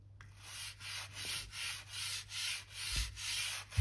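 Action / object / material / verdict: scrape / wooden floor planks / wood / none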